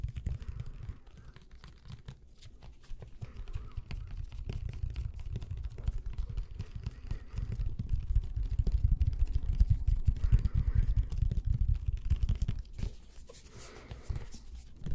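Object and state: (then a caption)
Plastic glue bottle. A medium white plastic squeeze bottle of glue with an orange cap is held close to the microphone while fingertips tap and scratch its sides and label. The result is a dense, irregular stream of soft, muffled low thumps and scraping textures with almost no brightness, growing fuller and louder toward the middle of the clip before easing off near the end.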